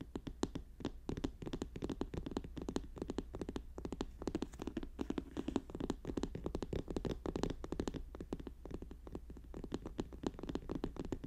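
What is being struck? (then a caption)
Paper notebook. Fast fingertip tapping and scratching on a paper notebook make a dense, continuous stream of short, dry taps with almost no ring. The sound is dull and low-mid toned, centered around 260 Hz, with little brightness and no talking.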